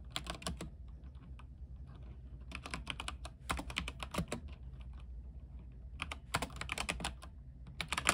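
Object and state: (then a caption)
Mechanical keyboard being typed on. Fingertips type on a backlit mechanical keyboard with white plastic keycaps on an aluminium frame. Quick bursts of bright, sharp clicks come in three clusters separated by quieter stretches, over a steady low hum. Each keystroke is short and dies away almost instantly.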